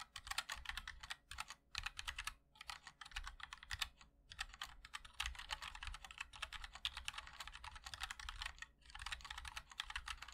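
Fingertips of both hands type continuously on a 60% MOD-L mechanical keyboard with linear switches, white and black ABS keycaps, and a black aluminum case. A rapid stream of crisp, bright clacks comes in bursts with short pauses, plus a faint low thump under each keystroke.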